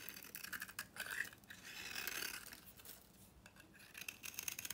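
A utility knife shaves an old, very dry, solid rectangular red-pink soap bar with copper-painted edges, held in the hand, into curly flakes. The sound is a bright, dry, crackly scraping with almost no low end, made of quick rasping strokes that swell into a longer scrape in the middle, fade quieter, and then pick up again in short bursts at the end.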